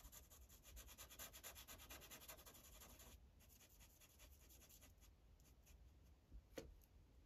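A tan felt-tip Sharpie marker, held in the fingers, rubs in short strokes across a thin printed paper coloring page lying flat on a clipboard. The result is a soft, rapid scratchy scribbling with bright hiss. It is busier for the first three seconds, then lighter strokes follow, with one sharper scrape near the end.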